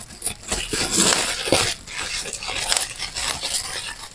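Air bubbles in a clear plastic bubble wrap sheet are pressed and popped between both thumbs. Sharp, bright crackling pops rise out of a steady crinkle of plastic, with almost no low end and very short decay.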